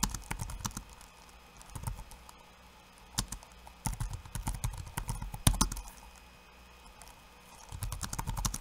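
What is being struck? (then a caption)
Plastic laptop keyboard keys. Fingertips of one hand type on a backlit laptop keyboard with plastic keycaps, producing short, dry clicks and taps in uneven bursts separated by quiet pauses. One sharper, louder tap stands out near the middle, and the strokes carry a dull low thump beneath a bright clack.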